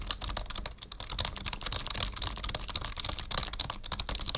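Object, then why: Plastic membrane computer keyboard. Fingertips of both hands type rapidly on a black full-size plastic membrane keyboard with a numpad, resting on a wooden desk. The result is a steady stream of quick, dry plastic key taps with a bright, high click and a soft low thud beneath, each tap dying away almost at once.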